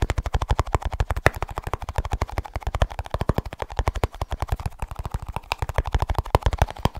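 Fast tapping on a small snus container produces a rapid, steady stream of short, dry taps, about ten per second for seven seconds. Each tap is a low, dull thump with almost no ring and little brightness.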